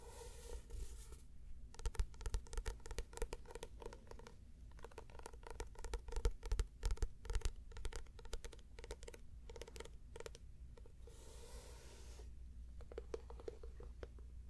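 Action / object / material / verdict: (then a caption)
scrape / paperback book with paper cover / paper / none. A small, closed paperback book with a paper cover, held in the hand, is tapped and scratched on its cover and spine with long red nails. Quick, irregular clicking taps and dry scratching come in bursts over a low steady hum, pausing between runs.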